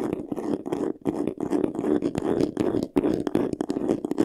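Fingertips and short nails scratch fast across the front face of a medium white vanity case, a hollow box covered in textured faux leather. The result is a dense, continuous run of dry, rasping scratches, centered in the low-mid range with bright edges and only brief pauses.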